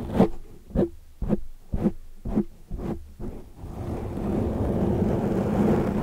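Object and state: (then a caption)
Foam microphone windscreen being scratched. Long metallic nails scratch and grip a large black foam windscreen on a microphone from both sides. About seven dull, muffled scrapes come at a steady pace, low and boomy with no high end. They then give way to a continuous rough rustling that fills the rest of the clip.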